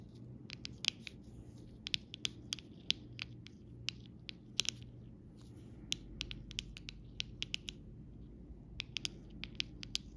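A hand with red nails taps and scratches the round tip of a copper metal stylus over the raised clear gems of a rainbow acrylic rhinestone sticker sheet lying flat on fabric. Many sharp, bright clicks and short scratchy ticks sound in quick, irregular succession, each dying away almost instantly. Beneath them sits a faint, steady low hum.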